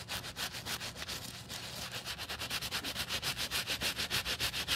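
A black treaded rubber shoe sole, covered in soapy foam and held in gloved hands, is scrubbed back and forth with a wooden-handled bristle brush. The result is a steady, rhythmic series of bright, hissy brushing strokes, about 19 of them, that grow slightly faster and more even toward the end.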